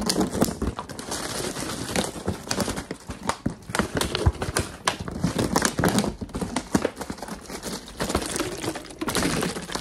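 A large, clear, hollow plastic water bottle with a blue cap, crinkled and apparently empty, is held in one hand and moved around while the fingertips of the other hand tap and scratch it very quickly. The result is a dense, continuous stream of sharp clicks, crackles and crinkling scrapes with bright, dry transients that cut off almost instantly.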